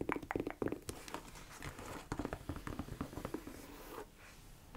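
Long nails tap and scratch along the shaft and heel area of a tall beige croc-embossed leather boot, held upright, empty and hollow. A quick run of soft, hollow taps with a low-mid knock mixes with dry scratching rustles, settling into a quieter scrape near the end.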